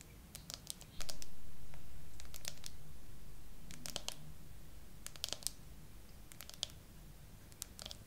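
Long acrylic nails tap slowly on a phone in a clear, glittery hard plastic case with glued-on 3D charms and pearls, mounted on a tripod. Crisp, bright clicks and short clusters of taps ring out over a steady low hum that swells at about one second and slowly fades.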